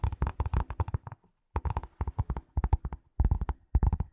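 A leather glasses case is tapped in quick bursts, giving about twenty short, dull, low thumps with brief pauses between the runs. Each tap dies away almost instantly.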